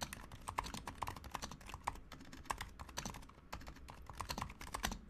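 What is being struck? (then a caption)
Plastic mechanical keyboard. Fingertips of both hands type steadily on a Razer Huntsman Mini, a compact 60% mechanical keyboard with a white plastic case, white plastic keycaps, lubed silent switches and a pink backlight. A quiet, rapid stream of soft, muted clacks with a tonal tick near 1 kHz, each keystroke dying away almost instantly.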